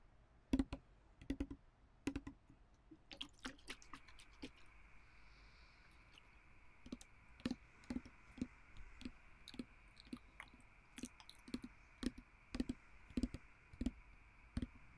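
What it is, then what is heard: Glass perfume bottle. Fingertips and nails tap on the glass body of a small, round, partly full glass perfume bottle with blue liquid and a clear glass stopper, held in both hands. Sharp, quiet clicks with a brief glassy ring land in irregular clusters throughout. A faint steady hum sits underneath.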